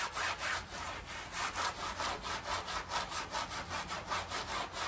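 A gloved hand scrubs a small, wet, foamy, heavily dirty and muddy fabric doormat on a tile floor, pushing a green scrub sponge or brush back and forth. The strokes make a steady, rhythmic rasping swish, roughly two per second, with a bright, hissy texture and little low end.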